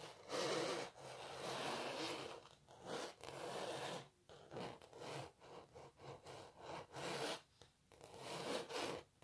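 Long natural nails scratch and rub across the textured paint of a canvas painting of a cellist. Dry, rasping, bright strokes come at an uneven pace: long drawn scrapes at first, then a run of short quick scratches, then longer rubs again. There is almost no low end and each stroke stops without ringing.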